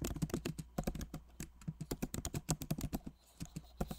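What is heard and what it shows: Both hands type rapidly with their fingertips on a backlit MacBook Pro Magic Keyboard, which has plastic keycaps set in an aluminum body. The result is a quick, uneven run of soft, dull, muffled taps with almost no ring, followed by a brief lull and a few final keystrokes. A faint low hum sits underneath.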